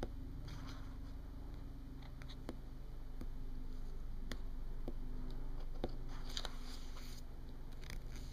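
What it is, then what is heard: Glossy paper magazine. Long painted fingernails tap and scratch across the glossy cover of a paper booklet or magazine lying on a table. Quiet, sharp clicks and soft scraping rustles are heard over a steady low hum.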